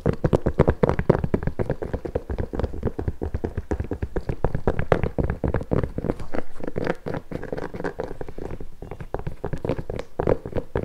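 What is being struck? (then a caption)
Nubuck leather boot with rubber sole. Long nails and fingertips tap and scratch the upper of an empty pink nubuck leather boot with metal eyelets and a rubber sole. Rapid, dull, low taps with almost no ring run continuously, mixed with soft scratching.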